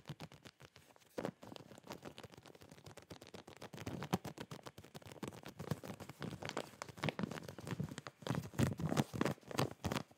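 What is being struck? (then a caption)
Plastic zip bag with fabric inside. Fingertips and nails tap, scratch and crinkle a clear plastic zip packaging bag with boxers inside and a cardboard hanger header. The result is a quiet, rapid, irregular patter of short, dry taps and crinkles. It is weighted toward low, soft thuds, with swells of brighter rustle and scratching in between.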